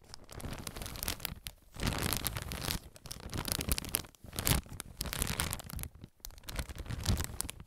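A clear soft plastic bag full of white cotton pads is held up and crinkled and scratched with fingers and nails. Bursts of bright, crackly crinkling and scratching rise and fall, separated by brief quiet gaps.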